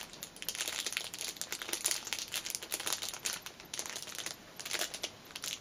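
Index-finger nails tap the clear cellophane wrapper of a small black fabric pouch lying on a cushion. The result is a rapid, uneven run of bright, crisp crinkling taps with almost no low end, each tap dying away quickly.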